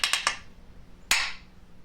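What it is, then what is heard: Hollow floor tile. A painter's tool taps four times on the problem area of a floor tile. The hits are sharp, bright clicks: three in quick succession, then one after a pause. The hollow tile sits over a void where the thinset was too low.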